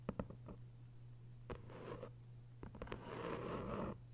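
Long white nails scratch across the paper dust jacket of a thick hardcover novel. A few quick taps and short scrapes give way to longer rasping strokes with a bright papery texture. A steady low hum runs underneath throughout.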